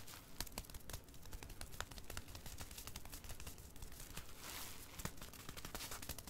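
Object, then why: Disposable pull-up with plastic outer layer. A single crumpled, striped Goodnites XL disposable pull-up diaper, hollow and unused with a crinkly plastic outer layer, lies on carpet and is patted and tapped with flat fingertips. The result is a steady stream of dense plastic crinkling and crackling, with many quick, sharp taps over soft, low thumps.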